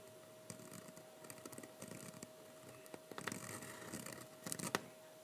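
A metal-nib fountain pen writes "Happy Halloween" on thick, heavyweight sketching paper lying flat on a table and held down by one hand. The nib scratches the paper in quick, dry, short strokes, with bright scratchy bursts that grow busier and louder toward the end. A faint steady tone hums underneath throughout.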